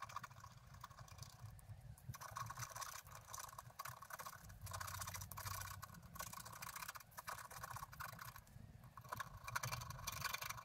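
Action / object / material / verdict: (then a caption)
scrape / black-coated scratch art paper card scratched with a wooden stylus / coated card / none. A pointed wooden stylus held in the fingers scratches across a flat, black-coated scratch art card about A5 in size, lying on a table with the other hand holding it, revealing colour beneath. The clip is a continuous, quiet, dry scraping and scratching with bright, rasping strokes that rise and fall in short bursts over a low rumble.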